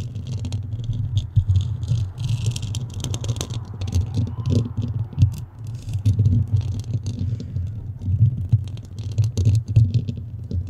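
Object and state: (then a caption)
Foam microphone windscreen being scratched. Long nails on both hands scratch and rub steadily across the dome of a black foam microphone windscreen. The result is a dense, continuous low rumble centered around 105 Hz, with rapid crackly scrapes and faint bright rustling ticks layered on top, rising and falling in loudness throughout.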